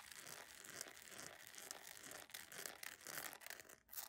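A beige PVC jelly sandal with a bow and thin straps is held in the hands while its textured sole is scratched and tapped fast with long acrylic nails. The result is a dense, bright, crinkly scratching with quick tapping textures and almost no low end. It dips briefly near the end before resuming.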